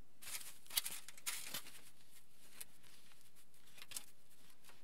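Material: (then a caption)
Aluminium. Fingertips rub and scratch a crinkled aluminium foil sheet lying flat, crinkling the foil. Quiet, bright, crackly bursts come in irregular clusters, with a few sharper crackles standing out over a soft hiss.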